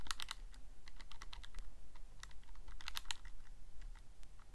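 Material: Plastic.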